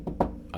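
Three knocks on a solid desk, given as an example of solid matter made up of atoms. Each is a short, dull thunk with energy in the low and low-middle range, a faint pitch near 160 Hz, and almost nothing above 2 kHz. The middle knock is the loudest, and all three die away almost at once.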